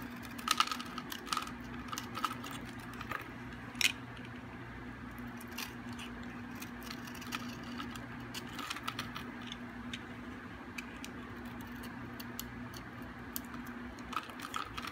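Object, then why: Bar of soap scraped with a metal blade. A solid, hard, dry white bar of soap held in the hand is scraped and carved with a metal utility blade, peeling off flakes. Quiet, crisp scrapes and bright crackling ticks come throughout, loudest near the start and around four seconds. A faint steady low hum sits underneath.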